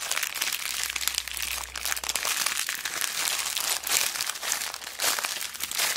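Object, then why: Plastic zip bag filled with small plastic beads. A small clear plastic zip bag, full of mixed colourful plastic beads and charms, is squeezed and crinkled by fingertips with long black nails. The result is a steady stream of bright, crisp plastic crinkling with small crunchy clicks from the beads shifting inside, rising into slightly louder bursts near the end.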